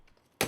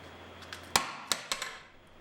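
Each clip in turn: First: ordinary glass pane shattered by a dropped steel ball. Second: tempered glass intact after steel ball drop.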